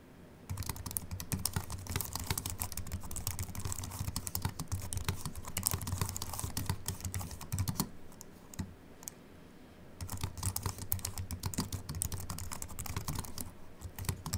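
Fingertips of both hands type quickly on a compact Apple keyboard with a silver aluminium body and white plastic keys, resting on a wooden desk. The short, dry key clicks form a dense, bright patter with a soft low thud beneath. The typing pauses for about two seconds midway, then resumes at the same pace.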